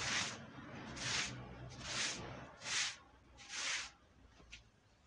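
A long-handled push brush scrubs a red woven wool Persian rug that is dirty and wet with brown foam. Five bright, hissy swishes come roughly once a second, followed by a brief faint tick as the scrubbing stops.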